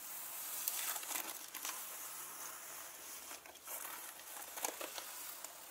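Long nails scratch and rub a turquoise leather handbag lying flat on a table with its zip pockets facing up, fiddling with the zipper pulls. The sound is a soft, bright, hissy scratching with brief crinkly ticks and clicks.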